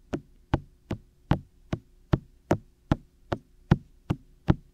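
Fingertips tap repeatedly on the white, hollow, ear-shaped silicone ears of a black 3Dio binaural microphone on a tripod. Twelve short, dull knocks sound at a steady pace, heavy in the low end with a brief low-mid thump and almost no ring.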